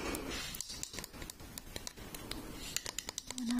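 A glossy black glass perfume bottle shaped like a high-heel shoe, medium size and hollow, is held in one hand and tapped with long red painted nails. It gives a quick, irregular series of light, sharp, bright clicks that die away almost instantly over a soft, rustling background.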